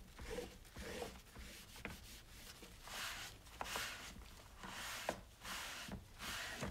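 A paper towel wipes the sides and top of a single-serve coffee maker with a white plastic hollow body and ribbed drip tray, sitting on a countertop, while one hand rests on the drip tray. Repeated soft, bright rubbing swishes rise and fall in waves, with a couple of brief sharp taps against the hollow plastic.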